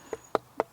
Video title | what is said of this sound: The Shooting Show - Stalking muntjac with the Blaser R8 Ultimate | it doesn't knock it doesn't rattle it doesn't resonate